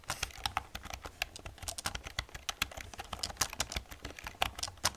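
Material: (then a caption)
Plastic. Two hands with long red nails type on the keys of a black plastic computer keyboard. Dense, rapid, bright clicking and clacking keystrokes with very short decay sound over a soft low rumble, the hits running together in uneven bursts.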